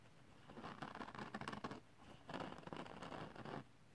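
Fingertips and short nails scratch and rub across the textured surface of a flat, thin silver holographic glitter paper sheet. Two bursts of dry, crackling scratching, from about 0.5 to 1.8 seconds and 2.3 to 3.6 seconds, are separated by a brief quiet gap.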